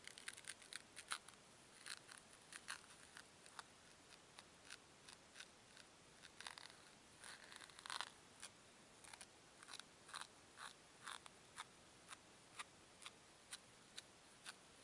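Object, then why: Two small foam cubes. Fingers with long nails squeeze two small, solid white foam cubes and then rub them edge to edge. The result is a quiet series of short, bright, squeaky crackles with almost no low end. They come in dense clusters at first and then settle into sparser, evenly spaced clicks.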